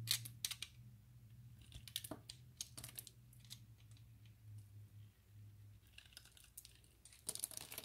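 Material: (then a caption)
Glycerin soap. A utility knife blade scrapes small cube flakes off the surface of a solid, translucent orange glycerin soap bar that is already partly shaved. Short, crisp, bright scraping clicks come in quick bursts over a steady low hum, with each click dying away almost at once.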